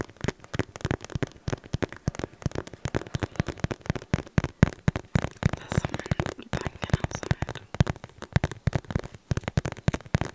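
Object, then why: Cotton cloth pouch. A cream polka-dot cotton cloth pouch is scratched and squeezed with the fingertips close to the microphone; it is unclear whether it holds a crinkly filling. Dense, rapid bursts of dry, crackly scratching and rustling run throughout, with a dull, low-heavy body and no ring after each sharp touch.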